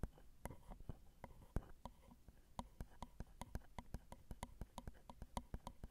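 Long acrylic nail tips tap the small hollow metal mesh grilles of a Zoom recorder's XY microphone capsules on their plastic and metal housing. The result is a quick run of short, dry clicks with a dull low thump and a faint bright edge, close and quiet. The taps come in an uneven rhythm and speed up toward the end.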